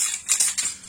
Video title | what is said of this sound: ACOUSTIQUE - Comment peindre un diffuseur en polystyrène | Quand vous commencez à bien entendre la bille cogner de haut en bas et faire résonner la bouteille, en fait la peinture elle est déjà bien mélangée.